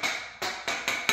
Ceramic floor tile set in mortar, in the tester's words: no matter where I tap this there are no Hollow spots